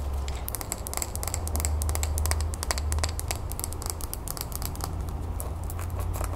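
Long nails rapidly tap and scratch the outside of a small clear glass terrarium bowl filled with soil and pebbles, held up in the hands. The result is a fast, uneven stream of short, bright clicks and scratchy ticks with almost no ring, over a steady low hum.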